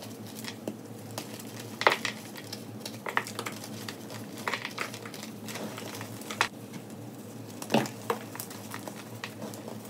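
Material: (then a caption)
Chalk. Hands with long nails crush and rub broken pieces of a solid pink and yellow gym chalk slab over loose chalk powder in a white plastic tub, crumbling the chunks into powder. Soft, dry crunching and gritty rubbing run throughout, with sharper brittle cracks standing out now and then over a faint steady low hum.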